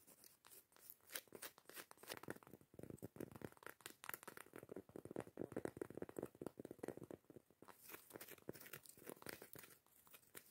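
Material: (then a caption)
Cork. A round, solid cork coaster lid is held in the hands while long nails and fingertips scratch and rub its grainy face. The result is a quiet, steady run of short, dry, crackly scratches and rubbing rasps, with a bright hiss over a mid-range body and almost no ring.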